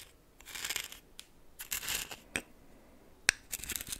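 A red plastic spoon stirs and scratches coarse white salt in a small greenish metal bowl that is half full. The result is bright, gritty bursts of crunching and scraping with short quiet gaps between them, plus one sharp click near the end.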